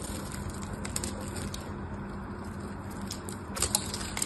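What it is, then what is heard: Soap bar being shaved. A black knife blade shaves and scrapes a hand-sized solid pink bar of soap, held in long-nailed fingers over a pile of pink shavings. Steady, soft crackling scrapes run over a low hum, with bright crisp ticks scattered throughout and a few sharper crackles near the end.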